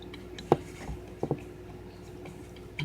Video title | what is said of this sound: Leatherman T-Shank Metal Saw? Fits Surge? | that's just me flicking it. So it's actually pretty secure in there.